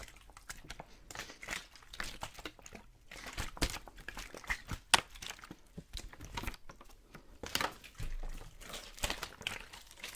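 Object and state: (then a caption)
Plastic water bottle being crinkled. A clear, thin plastic water bottle with a label, hollow and mostly empty, is held in the hands and squeezed, crinkled and rubbed close to the microphone. Sharp crackling snaps and crinkles come in quick, uneven bursts over bright hiss, with a low thump now and then as the bottle flexes.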